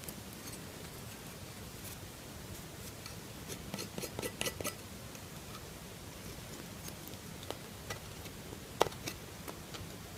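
A metal knife shaves a solid lilac bar of soap, and the curls fall onto a cloth. Soft, crisp scraping crackles and sharp clicks rise over a low, steady hiss, with the loudest snaps near the middle and toward the end.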